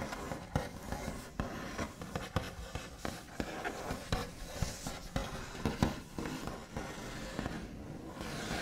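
The backs of the fingernails of both hands tap and scratch across a large, solid wooden tabletop with a smooth white finish. Irregular soft knocks rise over a steady low, scratchy rustle, each tap dying away almost at once with a dull, woody thud.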